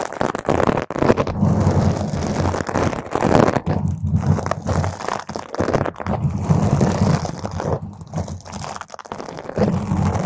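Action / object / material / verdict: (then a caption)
scrape / foam microphone windscreen / foam / none. Long green nails scratch and rub a round purple foam microphone windscreen while a hand grips over the foam. The result is a dense, continuous stream of crackly scratching and muffled, boomy rubbing, heavy in the low end and swelling and dipping throughout.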